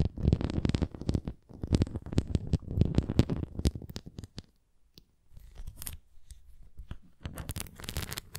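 Long nails scratch across the bumpy surface and rim of a red plastic flying disc toy held upright, making dense bursts of rough, rasping scratches with a dull low body. The scratching pauses briefly just before the midpoint, resumes softer and sparser, then swells into a brighter, louder flurry at the end.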